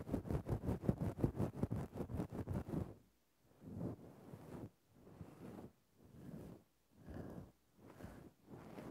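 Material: Synthetic fur.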